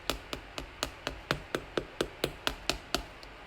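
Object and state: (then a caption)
Baked bread loaf, hollow (done). A golden-brown homemade bread loaf, baked 30–35 minutes at 190 °C, is tapped 14 times with a knife in a steady rhythm, each tap giving a short, dry, hollow knock. The hollow sound shows the bread is done, so it is taken out of the pan to cool.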